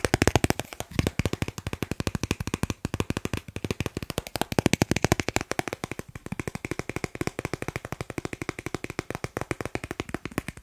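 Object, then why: Thin plastic card. A thin, solid dark blue plastic Snipes store card is held in one hand while the fingertips of the other hand tap and scratch it quickly. About 100 short, dry clicking taps come in a rapid, steady stream over roughly eleven seconds. Each tap dies away almost instantly, with a faint scratchy texture between them.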